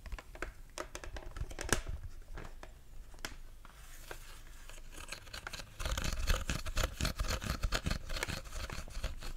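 Fingertips and nails tap and scratch across the outer shell of a hollow, empty white-and-black plastic Stormtrooper helmet held close to the microphone. Quick, dry taps with short, bright scratchy textures come at an irregular pace. The sound eases into softer rubbing midway, then grows louder and denser toward the end.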